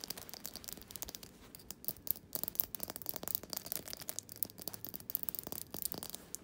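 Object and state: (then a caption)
Glass jar candle. Fingernails tap and scratch the glass sides and rim of a small glass jar candle filled with solid wax. A dense, quiet stream of bright, sharp clicks and scratchy rubs follows, each tap dying away almost instantly with little low end.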